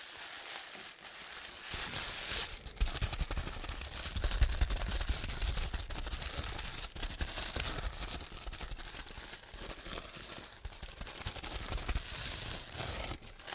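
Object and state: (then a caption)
Plastic bubble wrap. A bunched sheet of clear plastic bubble wrap is squeezed in both hands while fingertips pop its air-filled bubbles. Dense, irregular crinkling mixes with sharp, bright snaps and soft low thumps. The popping grows busier after a quieter start and continues steadily throughout.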